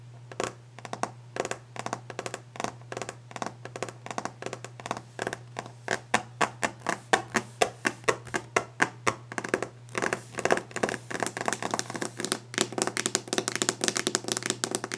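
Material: Wood.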